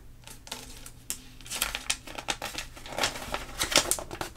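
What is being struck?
Glossy paper magazine pages.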